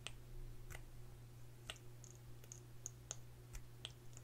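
Long nails tap and click on a small hollow plastic lip gloss tube with a gold cap, filled with product and held in both hands. Eleven sharp, bright clicks ring out at an uneven pace, each dying almost at once, over a steady low hum.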